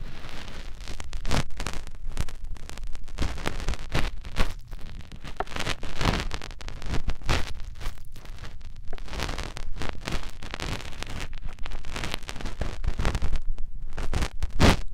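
A finger rubs and twists inside the ear canal of a soft silicone ear on a white binaural microphone. The result is a continuous run of close, muffled rustling and scraping with heavy low-end thumps and brief bright crackles. Level swells and dips throughout.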